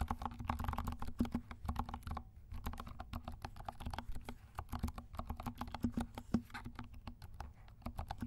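A compact 68-key mechanical keyboard with dark plastic keycaps and silent switches is typed on with the fingertips of both hands. It gives a quick, steady patter of soft, muted, low thocky clicks, with a brief pause a little over two seconds in.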